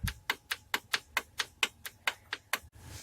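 With the cylinder head off a 2006 Toyota Vitz engine, the first piston is rocked by hand in its bore, making 12 sharp, bright metallic knocks at a steady tapping pace. The piston is completely loose and knocking because its skirts are worn.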